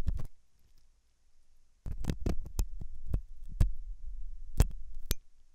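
A hooked metal dental tool scratches inside the ear canal of a white translucent silicone ear made of soft solid rubber, likely mounted on a binaural ear microphone. Close, deep, muffled scraping and thumping is heard in short bursts separated by a near-silent pause, with a few sharper clicks that reach into bright frequencies.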